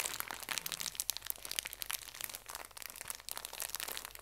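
A small, full pocket tissue pack in thin plastic wrap is squeezed, bent and crinkled by both hands with long nails. The result is a continuous stream of bright, crisp crackles and sharp crinkles with almost no low end, each one snapping off instantly.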